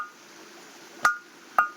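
A stone is struck twice with a hammer near one end. Each strike gives a sharp, clear metallic clink centered around 1.2 kHz with a bright top, ringing briefly over a quiet hiss. The stone rings unusually, sounding as if it were iron.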